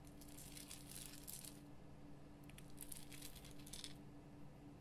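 Long painted nails scratch the rough surface of a large, solid, lit pink rock-salt Himalayan salt lamp. Bright, gritty scratching comes in two clusters of bursts over a steady low hum.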